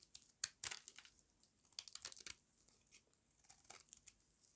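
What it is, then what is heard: Dry soap bar. A small metal blade scrapes crunchy flakes off the edge of a solid square bar of dry white soap held in the hand. The result is a quiet series of short, dry, bright crunching and tearing scrapes with almost no low end, each dying away almost instantly.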